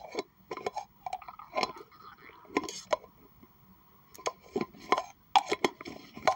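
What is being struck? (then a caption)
Plastic tumbler cup. Long acrylic nails tap and scratch the sides and rim of a hollow pink plastic tumbler cup, apparently empty and held in hands. The result is a quiet, uneven run of sharp, dry clicks and brief scratchy swipes with almost no ring, carrying a faint hollow tone around 800 Hz to 1 kHz.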